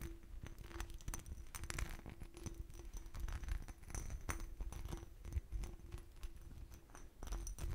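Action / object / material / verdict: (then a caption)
tap / textured glass bottle / glass / none. An empty clear glass bottle with a hobnail texture and a starburst base is tapped and scratched with fingernails. Quick, dry clicks and taps mix with scratchy scraping over the bumpy surface, with almost no ringing after each hit. A faint steady hum runs underneath the quiet, close sounds.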